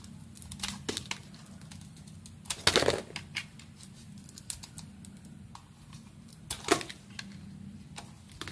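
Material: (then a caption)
Soap. A utility knife blade carves slices off a hand-sized, hand-held solid white bar of soap with a metallic silver coating, while a second uncut bar lies nearby on the table. Crisp, bright scraping clicks and short cutting ticks recur over a low steady hum. Two louder, longer shaving strokes stand out near the third and seventh seconds.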